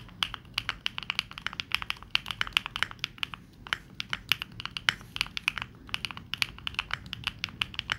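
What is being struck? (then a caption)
Mechanical keyboard with plastic keycaps. Fingertips of both hands type continuously on a Neo65, a 65% mechanical keyboard with dark plastic keycaps. Rapid, bright, short clacks follow one another in an uneven stream, each dying away almost instantly. There is very little low end beneath them.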